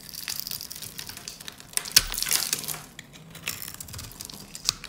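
A metal utility blade scrapes and cuts scored cubes away from a solid, cream-white rectangular bar of dry soap held in the hands. The result is a bright, dry, crunchy crackling with quick crumbly scrapes and a few sharper snaps as pieces break off, with almost no low end.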